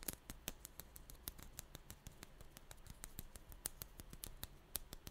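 Long nails tap and scratch a small pink dried-clay ball covered in glossy sprinkles, held between the fingers. A rapid, steady series of quiet, dry, bright clicks and ticks rises over a low background rumble, each one stopping almost instantly.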